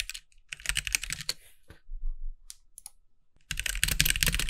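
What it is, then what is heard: Plastic mechanical keyboard. Fingertips of both hands type on a compact backlit mechanical keyboard with white plastic keycaps, producing quick, bright plastic clacks over a low thump. A dense burst of keystrokes thins to a few scattered taps in the middle, then fast, steady typing resumes to the end.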